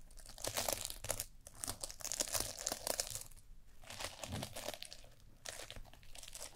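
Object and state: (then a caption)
Sequin fabric being scratched. A small reversible sequin fabric eye mask, held over the forehead of a glossy black mannequin microphone head, is scratched and rubbed with long painted nails. It gives dense, bright, crinkly rustling and scratching with short pauses.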